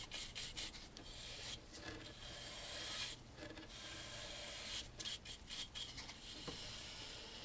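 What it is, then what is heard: Wooden picture frame being brushed. A bristle brush in a gloved hand scrubs along the carved edge of a large dark wooden picture frame at its corner. Repeated bright, scratchy brushing strokes rasp over the wood in quick, uneven bursts, leaving a steady hissing texture throughout.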